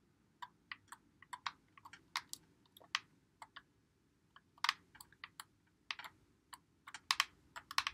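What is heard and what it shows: A white Xbox One controller with a hollow plastic body is held in both hands while fingertips press and click its buttons and thumbsticks. An irregular run of short, dry, bright clicks comes in bursts and clusters, each one dying away almost at once over a faint steady hiss.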